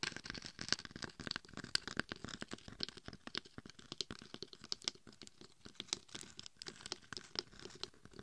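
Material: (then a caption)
Glitter. Long acrylic nails scratch along the gold-glitter side and the top of a head-sized, hollow-shelled, glitter-coated dummy head microphone. A dense, fast run of dry, crackly scratches and tiny crinkling clicks fills the clip, bright and sharp with very little low end. Each stroke dies away almost instantly.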